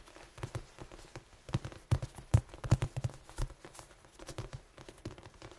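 A large, head-sized red foam die with black pips is held in both hands and tapped and scratched with the fingertips and nails. Soft, dull, low thuds land in an irregular patter, with faint scratchy rustles between them. Each tap dies away almost at once.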